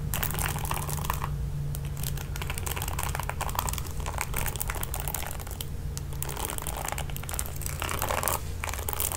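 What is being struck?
Plastic paddle hairbrush with nylon bristles.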